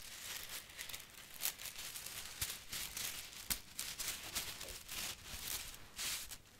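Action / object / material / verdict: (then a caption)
scrape / bundle of uncooked spaghetti strands / dry pasta / none. A handful of long, thin, solid, uncooked spaghetti strands is held upright and fanned out while fingertips and long painted nails rub and riffle through them. The result is a quiet, bright, dry rustling and crinkling with many short, sharp clicks, and only a little low end.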